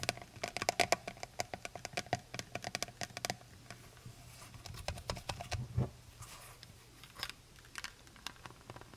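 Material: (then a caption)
Plastic. Long nails tap and trace the cap and plastic body of a full plastic honey bottle. A quick run of sharp, bright clicking taps comes first, then softer scratching strokes with scattered taps over a faint low hum.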